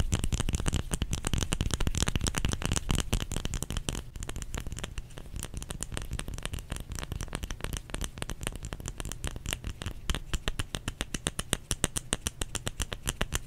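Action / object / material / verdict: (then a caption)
tap / solid bar of soap / soap / none. Fingers tap rapidly on a solid bar of soap, producing a dense, uneven stream of short, dull thuds with crisp, bright clicking edges. The taps are muffled and die away instantly, with no ringing.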